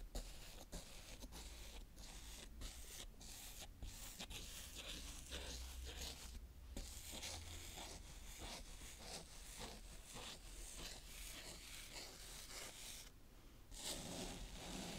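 A green plastic toy scoop scrapes a round patch of brown kinetic sand smooth on a tray. Soft, grainy rasping strokes repeat steadily over a low, quiet rumble, with a brighter, louder scrape near the end.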